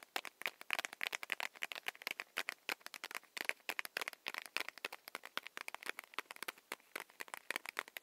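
Long nails tap rapidly on a small, solid, paper-wrapped Hi-Chew candy stick, making dozens of quick, dry clicks with no ring. Each tap is a bright, papery tick centered in the upper mids, with almost no low end.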